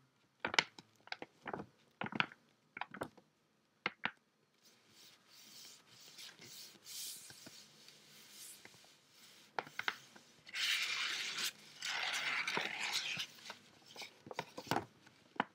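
An empty, thin, flat teal paper gift bag lying on a table is rubbed and smoothed flat with fingertips, then lifted and unfolded. Sharp, dry paper ticks and short crinkles come first, followed by soft, airy rubbing swishes. Then louder, bright, crackly rustling bursts play as the bag is opened, with a few crisp taps at the end.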